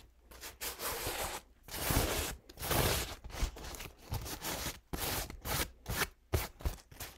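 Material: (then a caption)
Paper. A purple and olive paint-stained paper towel is stretched and unfolded by fingertips, giving bursts of dry crinkling and rustling. The bursts come in uneven pulses with short quiet gaps between them, full from low rumble up to bright, papery hiss.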